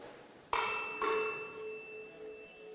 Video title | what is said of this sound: Dzień Otwarty w I LO w Radzyniu Podlaskim | słychać przez to takie dudnienie które jest wykorzystywane do nastrajania instrumentów muzycznych